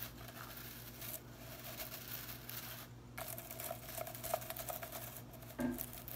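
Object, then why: Synthetic broom bristles. Long nails rake and scratch through the plastic bristles of a blue synthetic broom head held low. The result is a continuous dry, crinkly scratching with bright hiss, a brief quieter pause near the middle, and scattered sharper ticks over a faint steady tone around 630 Hz.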